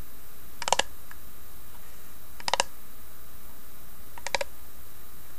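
Long nails tap the carved lid of a small, hollow wooden box inlaid with a tree design. Three quick bursts of bright, clicky taps centered near 1 kHz are spread across the clip over a steady low background hum.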